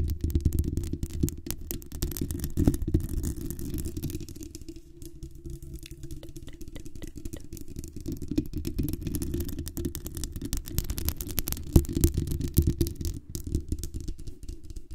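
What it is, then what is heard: Metal microphone mesh grille. Long acrylic nails scratch and tap the hollow metal mesh grille of a black desktop USB condenser microphone with a metal body, using both hands. The result is a dense, irregular stream of close, boomy low thumps and rustling scrapes, with little high-end content. The sound eases into a quieter, softer stretch in the middle before the rapid tapping builds again.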